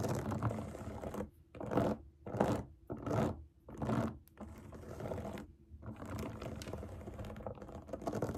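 Long nails tap and scratch quickly across the hollow bubbles of a large round rainbow silicone pop it fidget toy resting on a table. A dense, crackly patter of rapid taps rises in several louder bursts separated by brief pauses, then settles into steadier, softer scratching.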